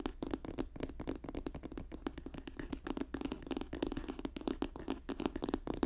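Fast tapping and scratching on a paper notebook, with quick, dense dry taps and scratchy strokes running steadily throughout. The sound is dull and papery, with a low-mid thump around 260 Hz, short sharp clicks with almost no ring, and very little high brightness.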